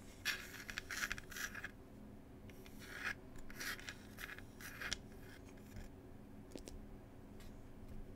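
A small, hollow wooden Cherry Tea box is tapped and scratched with fingertips and nails. Bursts of dry, bright scraping come in uneven strokes over a steady low hum, with a few short, sharp ticks near the end.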